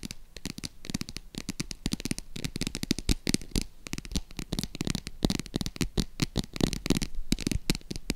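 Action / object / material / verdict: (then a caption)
scrape / faux leather embossed purse / faux leather / none. Long acrylic nails scratch and tap along the embossed scales of a green croc-embossed faux leather zip purse. The result is a rapid, dense stream of short, dry clicks and scratchy rasps with quick decays, weighted low but with bright crackly edges throughout.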